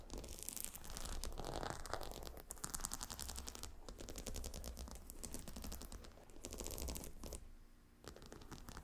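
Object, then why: Stone tiles on a leather heat pillow. Long painted nails scratch and tap the glossy dark brown hexagonal stone tiles set in the beige faux-croc leather of a long cylindrical gemstone hot stone pillow. The sound is rapid, irregular clicking and scraping with bright crisp edges over a steady low rumble. It eases briefly near the end before the tapping resumes.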